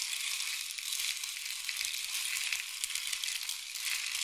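A long, hollow, painted wooden or bamboo rain stick is held near the ear and tilted so the pellets trickle through it. This makes a steady, bright hiss of tiny patters with almost no low end. It sounds like sizzling or gentle rain and carries on throughout.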